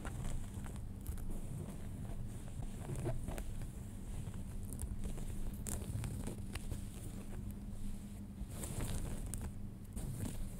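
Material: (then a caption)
Denim. Fingernails scratch the front pocket and fly area of folded light-wash denim jeans. A steady, low, rumbling scratch texture runs throughout, broken by brief bright rasps of the nails over the fabric.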